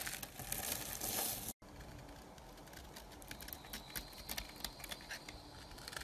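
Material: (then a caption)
Soap. A metal knife scrapes powdery curls from the face of a solid white rectangular bar of soap held in a hand with black nails. A bright, crinkly scraping runs loud for the first second and a half, then cuts to a brief silence. It resumes softer, with steady crackling flicks through to the end.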